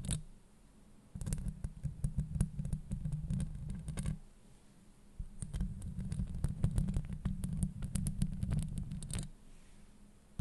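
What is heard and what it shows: Long nails scratch a hollow metal mesh microphone grille from both sides in two bursts separated by a short pause. The scratching comes through close and muffled as a dense, deep rumbling scrape, dotted with quick crackling ticks.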